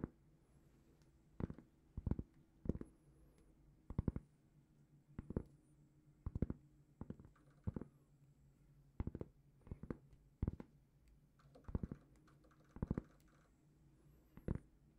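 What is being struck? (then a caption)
Round cork trivet. Long painted fingernails tap and scratch a large, flat, solid round cork trivet held in both hands. Quiet, dull, muffled taps come in short clusters every second or so, with faint scratching between them over a low, steady hum. Each tap dies away almost instantly.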